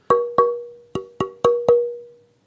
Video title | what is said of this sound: PodTaf 🎧 Ep. 13 Luthier avec Sylvain Tournaire | on entend la réaction du bois à l'impact et on entend la façon dont les harmoniques se propagent comment le son se construit dans le bois